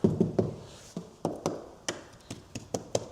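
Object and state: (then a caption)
Rotten wood. A screwdriver taps eleven times on rotted exterior wooden house trim or framing with wood rot (WDO damage). Each tap is a short, dull, low-pitched knock that dies away almost at once, with no ring. The dead, muffled taps mark the wood as rotten and soft enough to fall apart.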